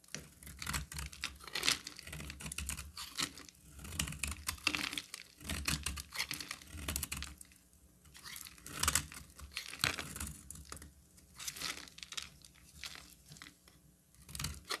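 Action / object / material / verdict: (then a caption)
scrape / bar of soap cut with a knife blade / soap / none. A metal utility knife blade carves a solid orange-amber bar of soap held in the hand, with brittle flakes breaking off. Dense, crisp, bright scraping and crunching cuts repeat in bursts throughout, each stroke dry and short with a soft low rumble underneath.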